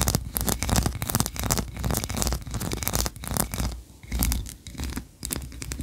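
Long nails scratch quickly across the ribbed tiers of a solid white, tree-shaped wax candle. The result is a dense run of dry, rasping scratches with short, choppy bursts and a bright hiss layered over a low rumble.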